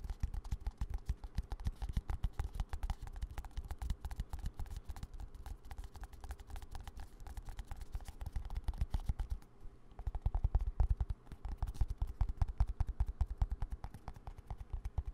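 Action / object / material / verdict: tap / plastic squeeze tube / plastic / none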